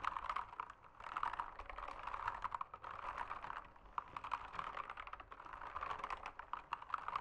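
Fingertips type steadily on a backlit mechanical keyboard with plastic keycaps. The result is a quiet, continuous stream of rapid, short clacking keystrokes that centre around 1 kHz with a bright edge and almost no low end.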